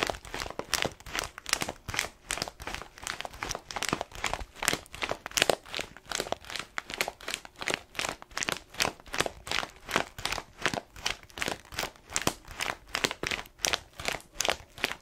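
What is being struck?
Paper-foil bag filled with coffee beans.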